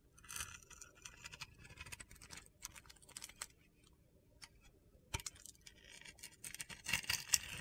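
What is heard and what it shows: A utility knife blade shaves white, crumbly flakes off a solid blue glitter-coated soap bar in repeated strokes. The strokes make quiet, crisp, gritty scraping and crunching sounds that are bright and high-pitched, with short, irregular bursts and brief pauses. A few louder strokes come near the end.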